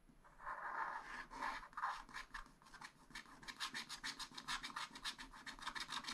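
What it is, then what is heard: Scratch-art paper sheet. A wooden stylus scrapes a black wax-coated scratch-art sheet in a spiral-bound pad, filling in a yellow area. It opens with a few longer, raspy rubs centered around 1 kHz, then shifts to a quick, uneven run of short, bright scratching strokes. The scraping stays soft and dry throughout, with little low end.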